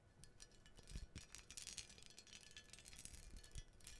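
Long nails tap and scratch the arms and cups of an ornate gold-toned metal menorah with jeweled scrollwork, about 25 cm wide, held close to the mic. A dense run of quick, bright metallic ticks and scrapes, some with deeper thumps, rises and falls without much ring.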